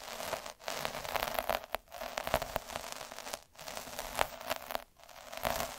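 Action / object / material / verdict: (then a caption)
scrape / felt sheet scraped by a metal-needle roller / felt / none. A metal-needle derma roller is rolled back and forth over a flat red felt square resting on a dark table, scratching the fibres. The result is a dense, crackly scratching and rustling, loudest in the midrange with some bright hiss. It comes in sustained passes separated by brief near-silent gaps where the roller reverses.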